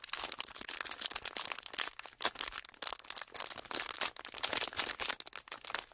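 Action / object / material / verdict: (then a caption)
scrape / clear ridged plastic packaging sheet / plastic / none. A thin, clear, ridged plastic packaging sheet is squeezed and crinkled between fingers. It gives a dense run of sharp, bright crackles and snaps in uneven bursts, with almost no low end and each crackle dying away instantly.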